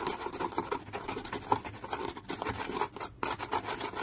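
Fingernails scratch the flat printed lid of a small decorated cardboard box held in the hand, making a dense, rapid run of dry, raspy scratching with a faint tone near 900 Hz. The scratching stops briefly just after the three-second mark, then resumes at the same pace.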